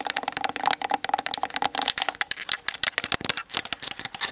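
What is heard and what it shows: Long nails tap quickly on the hollow plastic body and 18-55mm plastic lens of a Canon DSLR camera mounted on a tripod. The result is a dense, rapid stream of short, bright, clicky taps with a hollow plastic resonance and no low end.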